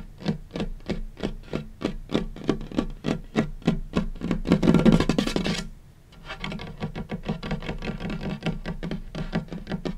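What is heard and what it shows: Fingertips of both hands tap and scurry across a large, solid, light-colored wooden tabletop, producing quick, dry, low knocks with almost no ring. Steady rhythmic tapping builds into a dense, rushing scurry that swells briefly, then drops to near silence. Lighter, faster pattering follows and continues to the end.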